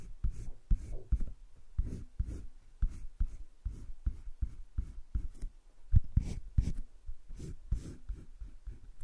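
A yellow-green colored pencil held at the fingertips scratches and shades a heart outline on a sheet of cream drawing paper in a wire-bound sketchbook lying flat on a desk. The result is a quick series of short, dry, low scratching strokes, each dying out almost at once.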